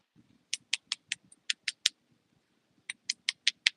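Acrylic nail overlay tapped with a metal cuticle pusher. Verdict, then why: Dry. A cuticle pusher taps repeatedly on an acrylic nail overlay, making twelve short, sharp, high-pitched clicks with a brief pause between two runs. The taps sound dry, and the overlay is basically dry.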